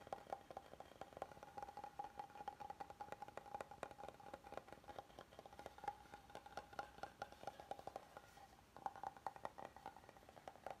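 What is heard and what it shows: A solid oval wooden cutting board is tapped along its edge with fingernails, then both hands tap and scratch across its flat face. A rapid, dense run of short, dry, hollow clicks with a woody ring in the mid range continues almost without pause, with a brief lull near the eight-second mark before the tapping picks up again.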